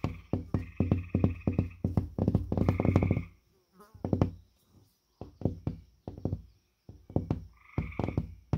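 Fingertips and the knuckles of a bent hand tap and knock repeatedly on the surface of a flat, solid gypsum drywall (sheetrock) panel with a purple paper face. The result is quick runs of dull, low, woody thuds that die away almost at once, broken by short quiet gaps.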